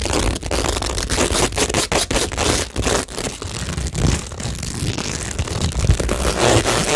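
Long nails and fingertips scratch and rub across a cork tingle board set with plastic rhinestones. The result is a steady, dense crackling of short scrapes and taps over a low rumble, with a bright edge on top.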